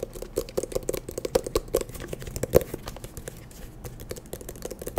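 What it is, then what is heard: Eyeglass case. An eyeglass case is tapped quickly and irregularly, giving a rapid stream of short, dry, clicky taps with a hollow tone around 500 Hz. The taps are louder in the first half and softer after about three seconds.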